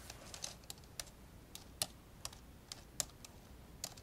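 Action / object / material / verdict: tap / plastic laptop keyboard / plastic / none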